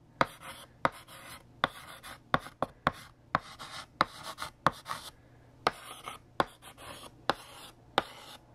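A hand writes on a large, flat, solid black chalkboard with a blue chalk stick. Scratchy strokes are punctuated by about 15 sharp taps as the letters form, with brief hissing drags between them.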